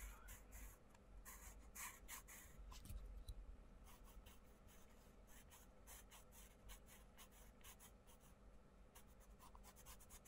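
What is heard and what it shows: A wooden coloured pencil rubs and scratches across a paperback colouring book page on a wooden table in colouring strokes while fingertips hold the page. The quiet, dry scratching comes in quick, uneven strokes with bright papery bursts over a low, steady rumble.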